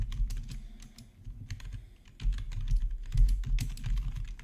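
Both hands type with their fingertips on a black plastic RGB backlit gaming keyboard. Quick, irregular key clicks with bright, sharp edges sit over a steady low thumping, and the taps run in dense bursts that grow louder in the second half.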